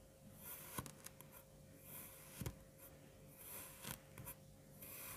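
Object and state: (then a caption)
Kinetic sand being cut. A long serrated bread knife cuts and scrapes through a solid, crumbly mound of yellow-green kinetic sand with a waffle-pressed center. Soft, gritty scraping hisses are broken by about six short, crisp crunches as the blade slices in, each with a bright crackling edge and a dull low thud beneath.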